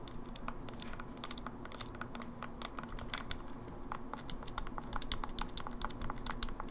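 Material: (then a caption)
Plastic. Long nails rapidly tap the face buttons and D-pad of an open, small, hollow silver plastic Game Boy Advance SP. Quick, dry, bright clicks patter in a dense, uneven stream, each one dying away almost instantly over a faint low hum.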